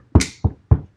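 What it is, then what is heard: Knock on wood. Knuckles knock on a wooden surface, done as a superstitious "knock on wood." Four dull, low thuds are heard, each short with a quick decay, the first carrying a brief bright click. The fourth knock is cut off at the end.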